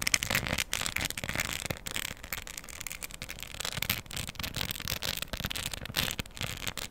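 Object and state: Diamond art coaster with plastic rhinestones.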